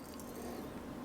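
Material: Nothing is struck.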